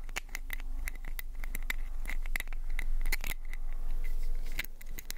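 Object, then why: Small plastic pill bottle with cap. Fingernails scratch the white cap and sides of a small orange plastic prescription pill bottle held close to the mic. The result is a rapid, irregular run of dry scratchy clicks, each carrying a faint ringing tone near 2 kHz, over a steady low rumble.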